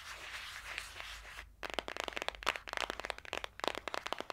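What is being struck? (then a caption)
Cardboard eyeshadow palette. Long dark-green acrylic nails tap and scratch fast on the cover and edges of a small, flat, green printed cardboard eyeshadow palette, held closed in the hand. A steady, hissing scratch runs for about a second and a half, then gives way to rapid, sharp, dry clicking taps that end quickly.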